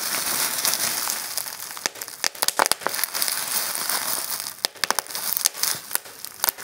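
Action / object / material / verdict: scrape / plastic bubble wrap / plastic / none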